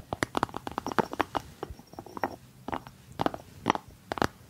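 Fingertips and nails tap and scratch the cork lid of a small, hollow white ceramic jar with a blue rim. About twenty quick, dry taps come in irregular bursts, with soft scratchy textures between them. Each hit is centered in the mid-range and dies away almost instantly.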